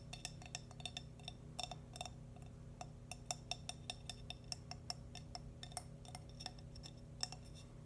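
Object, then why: Small glazed ceramic baby shoe. Fingernails tap the sides and sole of a small, hollow, glazed cream ceramic baby bootie with a name written on its sole. The result is a quick, irregular series of sharp, bright clinks and ticks that die away almost instantly, over a steady low hum.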